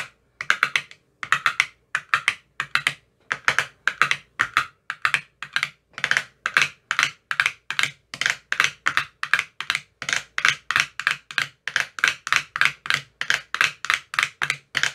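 A thin metal rod with a white tip taps into the cells of an empty clear plastic ice cube tray with green silicone cell bottoms. The result is a steady run of quick, dry, bright clicks with almost no ring, repeating in fast bursts throughout.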